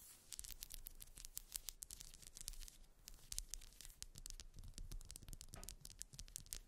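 Long nails scratch across the ribbed ridges of a grey, solid wax pillar candle resting on fur. The result is a rapid run of short, dry, bright clicks and scrapes over a soft low rumble.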